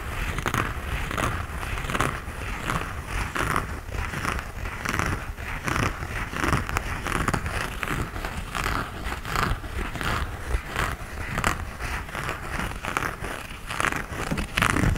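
Fingertips tap and scratch the knit upper of an empty cream knit textile sneaker with laces, held vertically. Soft, dry scratching and rustling mix with dull low taps in a steady, closely spaced run of short bursts.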